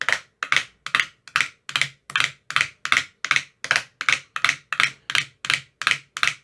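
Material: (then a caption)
Plastic. A thin metal rod with a white rounded tip taps inside the hollow cells of an empty translucent frosted plastic ice cube tray with 15 compartments. It makes a steady series of short, dry, hollow clicks, each bright and crisp with a quick fade and almost no low end.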